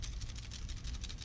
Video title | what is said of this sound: DIY DRAGON TAIL DRIFT RIG WITH A TWIST | I'm not even really shaking it that hard, and you can hear it making a lot of noise.